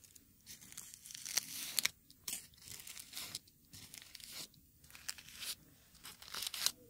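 Small dark red dried rose petals are held between fingertips close to the microphones and crumpled and torn into pieces. The dry, crisp material gives bright, papery crackles and rustles in uneven bursts with short quiet gaps, with sharp snaps as the petals break apart.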